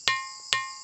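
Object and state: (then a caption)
Ringing gong stone. A historic sounding stone, locally called "kontu mondi," in Liangkobori village, Muna, is struck twice. Each strike gives a bright, gong-like metallic ring pitched around 1 kHz with strong upper overtones. Each ring decays quickly.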